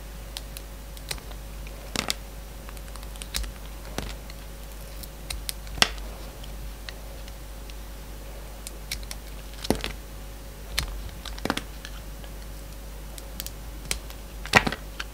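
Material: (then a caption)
Soap. A solid bar of soap, purple outside with pink and white stripes inside, is shaved with a yellow box cutter. Sharp, brief scraping and cutting clicks with bright edges rise above a low, steady hum.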